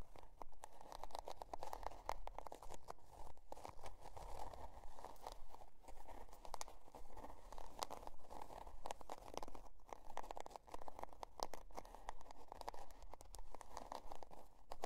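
A spiral-bound notebook with a scale-pattern cardboard cover, resting on faux fur, is scratched with long dark nails. The result is a continuous, quiet, dry scratching and crunching texture made of many quick, short strokes at an uneven rhythm, centered in the low-mid range with deep low rumble beneath.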